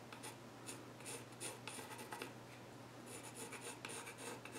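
A pencil tip held in the fingers scratches lines across the flat, reddish-brown grained top of a solid wooden child's stool. Quick, bright, raspy strokes come in short bursts over a steady low hum. The scratching stays soft and close throughout.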